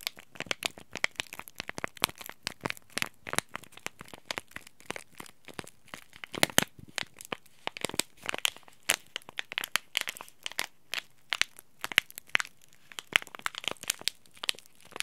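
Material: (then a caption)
Plastic foil. A small green laminated plastic-foil tea bag packet is held flat in the hand and scratched with fingertips and nails. Dense, dry, bright crackling and crinkling clicks come in irregular bursts, with almost no low end.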